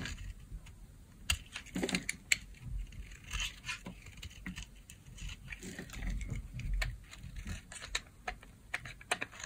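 A blade scores and scrapes the surface of a solid peach bar of dry soap held in the palm. Crisp, bright scratches and sharp little clicks come in quick irregular bursts over a soft low rumble, each tick dying away almost instantly.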